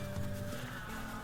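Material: Nothing is struck.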